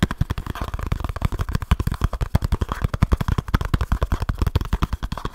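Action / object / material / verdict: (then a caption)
tap / small cardboard box / cardboard / none. Fingertips tap fast on a small kraft cardboard box with a barcode, and fingernails scratch it close to the mic. It makes a rapid, steady run of short, dull, bassy thuds with very little high-end. Each tap dies away almost at once.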